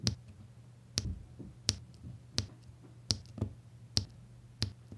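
Small solid faceted resin diamond painting drills are pressed one by one onto the sticky surface of a flat canvas with a printed symbol grid, using the tip of a plastic drill pen. Each press makes a short, sharp, bright tapping click at a steady, unhurried pace. A faint low hum sits underneath.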